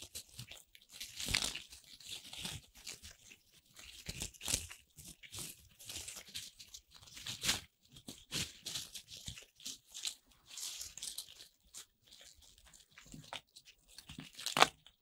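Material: Corn starch foam.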